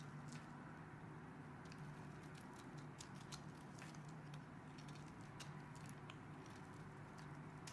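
A metal blade shaves and scrapes the edges of a solid green rectangular soap bar held in one hand with red painted nails, and green soap flakes pile up below. Quiet, scattered bright crackles and scratchy snaps ride over a steady low hum throughout.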